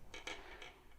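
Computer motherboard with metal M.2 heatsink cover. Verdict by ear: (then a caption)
Loose. A computer motherboard is picked up and moved, and its loose metal M.2 protector rattles against the board. Four short, bright metallic clicks ring briefly, centred around 2.3 kHz, over a low background rumble.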